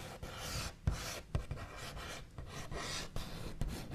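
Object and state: Wooden tabletop.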